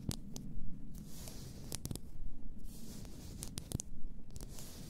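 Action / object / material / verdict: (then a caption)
scrape / glass bottle of bath salts / glass / none. Fingertips and nails slowly rub and scratch the sides of an upright, full glass bath salt bottle. Soft low rubbing runs throughout, broken by bright scratchy swells and short, sharp clicks at irregular intervals.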